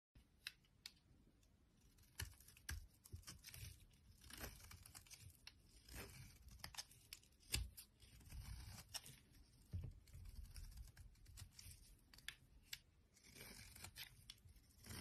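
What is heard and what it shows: A thin metal blade repeatedly scrapes and shaves the surface of a palm-sized, hand-held white Safeguard bar soap, shedding flakes and powder. Short, dry, crisp scraping strokes with a bright, papery tearing texture sound over a quiet low rumble, with a few sharper cuts standing out.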